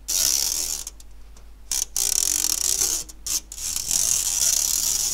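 Fingernails pluck and scratch the fine wire mesh of an empty, round stainless steel sieve held by its handle. The scratching comes in long bright, hissy stretches with a fast, uneven raspy texture, broken by a few short quieter gaps, with almost no low end.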